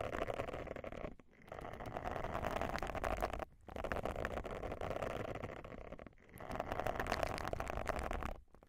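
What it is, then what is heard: Silicone face scrubber pad being scratched. Long nails scratch the bristles of a round, solid, thin silicone face scrubber pad held over the mic. The result is dense, crackly scratching with a mid-range body and a low rumble. It comes in four sustained passes separated by brief pauses.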